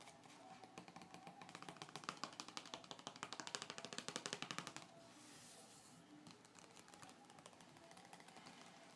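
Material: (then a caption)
Coated paper. Fingertips and short nails tap, scratch and rub across the glossy coated paper cover of a car magazine lying flat on a dark table. For about five seconds, quick, bright, crisp taps land in an uneven rhythm. Then the sound shifts to a softer, steady papery scratching and rubbing with lighter taps scattered through it.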